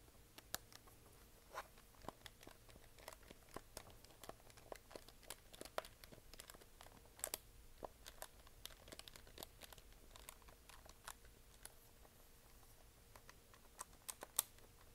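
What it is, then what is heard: Plastic desk calculator. Long painted nails tap on the keys and hollow casing of a handheld plastic desktop calculator held upright. Many quick, dry clicks with bright edges die away almost instantly, scattered irregularly over a faint low hum.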